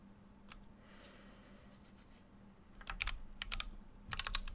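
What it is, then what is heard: Mechanical keyboard being typed on. A full-size Keychron Q6 mechanical keyboard with an aluminum case and plastic keycaps is typed on with fingertips, giving sharp, bright clicks over a low steady hum. A lone click early on is followed by a quiet stretch, then short bursts of quick keystrokes that grow louder toward the end.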